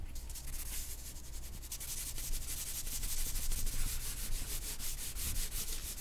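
A hand draws strokes with a black charcoal stick on a single white drawing paper sheet lying flat on a black board. A steady run of quick, bright scratching and rubbing strokes repeats over a low background rumble.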